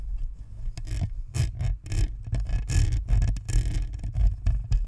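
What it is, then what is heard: Plastic microphone grille scratched. Long fingernails scratch the hollow, perforated plastic front grille of a white spherical Blue Snowball USB microphone while the other hand rests on its side. It makes a continuous run of rough, scratchy strokes over a heavy, boomy low rumble, with bright hissy bursts on the firmer strokes.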